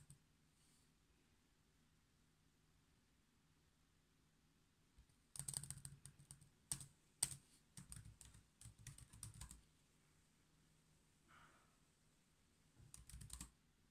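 Fingertips type on the black plastic keys of a silver laptop keyboard, giving quiet, bright clicking taps. After a near-silent start, a quick flurry of keystrokes runs for about four seconds. A pause follows, then a brief final burst of typing near the end.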